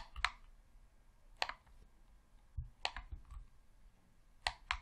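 Thumbs click the thumbsticks and buttons of a hollow red plastic Xbox controller, producing seven short, crisp clicks spread across a quiet background. Each click is bright and snappy with almost no ring, and a few carry a soft low thud from the hollow body.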